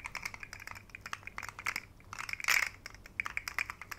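A rainbow segmented plastic articulated fidget slug toy is dangled and flexed by fingertips, its segments clicking as it is shaken and bent. Quick, light, dry plastic clicks cluster in bright bursts, with a denser, louder rattle midway through. The clicks are sharp and short with almost no low end.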